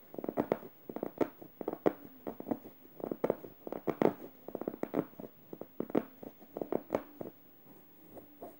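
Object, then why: Plush fabric stuffed pillow. Red-painted nails scratch over a yellow stuffed plush fabric emoji cushion and its felt eye, making rapid bursts of soft, dry rustling scratches. The scratching shifts between harder and gentler strokes in quick clusters, with a faint steady low hum underneath, and grows quieter toward the end.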